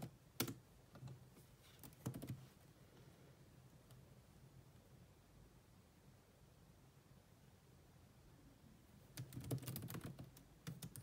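Two hands type on a grey laptop keyboard with black plastic keys, using long nails and fingertips. Bursts of quick, bright clicking taps come at the start and again near the end, with a long quiet stretch of faint tapping between them.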